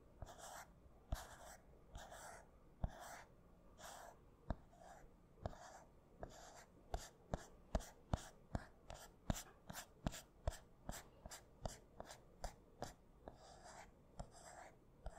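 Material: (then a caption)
Aluminium. Fingertips and nails tap and scratch the surface of a gold iPhone with an aluminium back and glass front while it is held up. Quiet, breathy scratching bursts alternate with about 28 sharp, dry clicks that barely ring, coming irregularly and bunching closer together in the middle of the clip.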